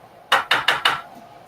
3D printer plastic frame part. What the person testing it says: When I tap this side, you hear that's the plastic moving. It's only moving like a fraction of a millimeter